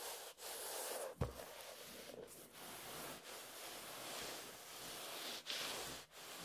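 Fingertips and nails scratch and rub the beige paper cover of a closed, solid hardcover book with a pen doodle, lying flat on a table. A steady, soft, hissy scratching fills the clip, bright and airy with little low end, broken by brief pauses between strokes. Two short, louder knocks stand out, one sharp one early on and a milder one near the end.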